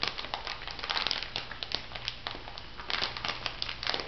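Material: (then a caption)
Plastic. A small clear plastic bag full of white bath salt granules is held up and squeezed by fingertips with long nails. Continuous bright crinkling and crunching crackles are heard in quick, irregular bursts over a faint steady low hum.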